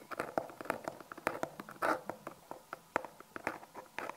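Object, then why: Small cardboard box. A small, hollow brown Magenesis cardboard product box, its contents unseen, is held in both hands and tapped and scratched with long painted nails. About 23 quick, dry, hollow taps land in an uneven rhythm, with a brief rough scratching rasp near the middle. The sound is light and mid-pitched, with no ring after each tap.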